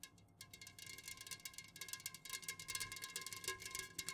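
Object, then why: Aluminum drink can. Long fingernails on both hands fast-tap the sides of an unopened, full Jumex Guava Nectar aluminum can standing upright on a fuzzy cloth. The result is a quiet, rapid, uneven patter of bright, crisp metallic clicks. Each click carries a faint, short ring around 2 kHz and 1 kHz.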